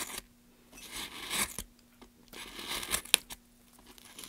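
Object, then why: Pine wood plank. A gloved hand scrapes and carves the end of a solid softwood pine plank with a small blade. Bright, dry scratching bursts rasp across the wood, separated by near-silent pauses, with a sharp tick of the blade near the end.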